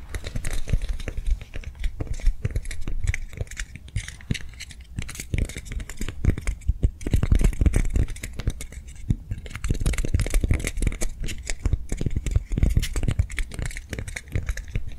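Long nails tap quickly and continuously along a hand-sized soft foam swirl lollipop toy held upright in both hands. The taps are dense, short and dull, with a soft low thump and faint bright clicks, easing briefly around 5 and 9 seconds before picking up again.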